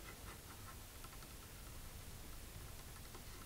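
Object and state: Nothing is struck.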